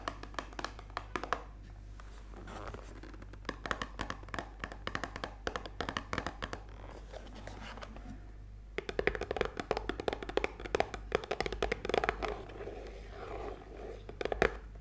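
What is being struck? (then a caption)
Small printed cardboard perfume box. A small, closed, printed cardboard Burberry perfume box, likely still holding its bottle, is held in both hands and then set on a towel while long painted nails scratch and tap it. Quick, dry clicks and scratchy rustles come in bursts over a steady low hum, getting louder and denser in the second half.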